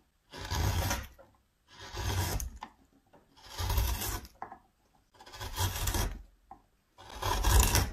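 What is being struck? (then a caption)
Wooden spoon blank carved with a metal gouge. A metal gouge held in the fingers scoops out the bowl of a solid reddish wooden spoon blank, raising curled shavings. Five long, rasping scrapes of about a second each are separated by short pauses. Each has a heavy low rumble under a bright, grainy hiss.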